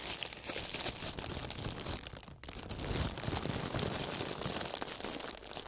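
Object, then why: Clear plastic film sheet. A large crumpled sheet of clear plastic film is held flat over a foam panel while both fingerless-gloved hands press and rub it with their fingers. It gives a steady, dense, bright crinkling and crackling with a brief lull partway through.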